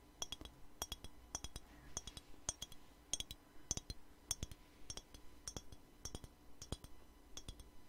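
A small clear glass perfume bottle with a black cap and liquid inside is held in the hand and tapped with fingernails. Quick bursts of short, bright glassy clinks and clicks come in rhythmic clusters, each tap dying away almost at once over a quiet low hum.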